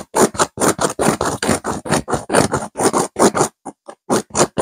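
Long nails on both hands rapidly scratch a stuffed pillow with a blue velvet cover and a cream petal-shaped burnout pattern. About nineteen short, raspy scratching bursts follow one another in an uneven rhythm, with a brief quieter stretch near the end before the strokes pick up again.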